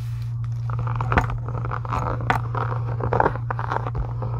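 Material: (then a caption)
Faux leather. Long acrylic nails scratch along the edges and embossed texture of a solid, pink embossed faux-leather journal cover. Dry, crackly rasps come in short bursts over a steady low hum.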